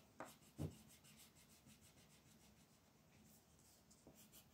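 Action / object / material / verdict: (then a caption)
scrape / paper page shaded with a wooden colored pencil / paper / none. A wooden colored pencil held in the hand is rubbed and scratched back and forth to shade a thin white paper mandala page lying flat on a dark wooden table, with the other hand's long nails resting on the sheet. A quiet, steady scratchy rubbing runs throughout, weighted toward low tones, with three short, sharper taps standing out from it.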